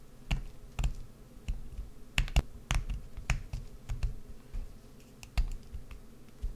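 A wood-handled gouge scratches and carves out the hollow interior of a solid green bar of soap held up in the air. The result is a quiet, irregular series of short, sharp scraping clicks with bright crisp edges over a low, dull rumble.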